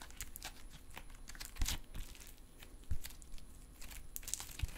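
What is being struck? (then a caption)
Metallic stress putty. Soft, solid silver metallic stress putty is worked in both hands, fingertips flattening, folding and stretching it apart. Close, soft crinkling and sticky clicks come in irregular bursts. Two louder low thuds land near the middle.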